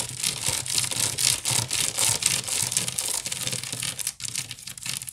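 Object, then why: Woven wicker basket. Long nails scratch fast across the woven strands of a wicker basket, seen close up from the side. The sound is a dry, bright, continuous rasping in quick, uneven strokes of about four per second, with a brief drop in level near the four-second mark.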